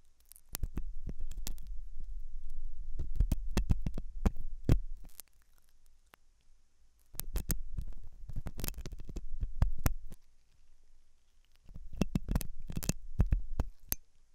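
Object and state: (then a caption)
Silicone ear model being scraped. A hooked metal dental tool scratches inside the ear canal of a white translucent silicone ear model made of soft, solid rubber, likely mounted on a binaural microphone. Close, deep rubbing thumps and crackly scratches with sharp bright ticks come in three bursts separated by quiet pauses.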